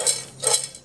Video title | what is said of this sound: Popcorn Tanpa Minyak Mudah dan Sehat | masih ada biji yang terdengar tidak meletus sih dengernya ring ya